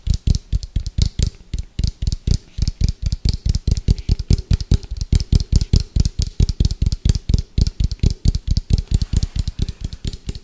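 Fingertips tap quickly and aggressively on the side of an orange, hollow, round plastic food container with a white lid, held sideways. The result is a fast, slightly uneven stream of short, deep, hollow thuds, each with a faint bright click and almost no ring.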